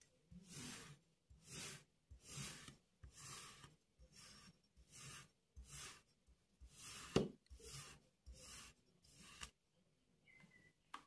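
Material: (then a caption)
Kinetic sand. A metal crinkle-cut knife slices through a solid, palm-size, pink paw-shaped block of kinetic sand and scrapes the crumbly ridged slices, which fall onto the pile on a white surface. About eleven soft, separate gritty rasping strokes carry a bright hiss and low crumbling thuds, with brief quiet gaps between them. A sharper crunch comes near the middle, and faint light scrapes and clicks close the clip.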